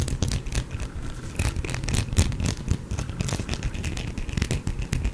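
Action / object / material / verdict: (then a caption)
scrape / bar of soap / soap / none. Fingernails scratch along the surface of an elongated, solid, cream-colored soap bar that is carved and uneven and held in one hand. Soap shavings gather on the cloth beneath it. The sound is a dense, continuous run of dry, crackly scraping with quick bright streaks over a heavy low-end rumble.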